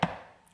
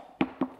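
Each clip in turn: First: One short, dull knock with a low thud near 170 Hz and almost no ring: a stiff hardcover board. Second: Two quick, dull taps on a paperback cover, a soft papery knock that dies at once.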